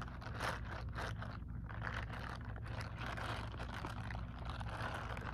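Long acrylic nails tap and scratch a grey silicone scrubbing glove held close, its smooth back side and textured fingers facing out. Soft, continuous rubbery scratching and brushing rises and falls over a steady low hum, with little high-end brightness.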